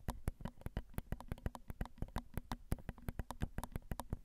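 Long acrylic nails tap on the metal grilles of a Zoom recorder's XY microphone, its small, hollow metal mesh capsules. The result is a quick, uneven series of dry clicks, each with a deep, boomy thump underneath and a brief bright tick on top. Every tap dies away almost instantly.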